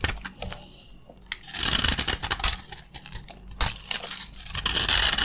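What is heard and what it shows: A utility knife blade repeatedly cuts and scrapes crunchy chips from a green, solid bar of dry soap held in the palm. Bright, dry crunching and scraping bursts come at an irregular pace, with short sharp cracks between them. The sound grows denser and louder toward the end.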